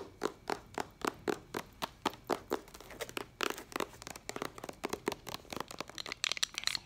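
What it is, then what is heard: Plastic binder cover. Long acrylic nails tap and scratch on the clear plastic cover sleeve of a white ring binder held upright. Crisp, bright clicks come in a steady rhythm, then break into a rapid scratchy flurry partway through. Quicker, uneven taps follow, each dying away almost instantly.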